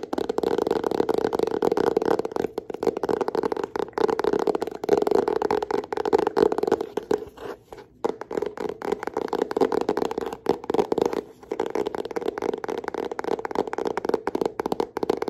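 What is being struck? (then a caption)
Hardcover notebook, cardboard and paper. A solid yellow hardcover notebook is held close while long nails tap and scratch its cover and edge. Rapid, dense tapping and scraping sounds run throughout, centered in the mid range with very little low or high content. There is a brief quieter stretch partway through.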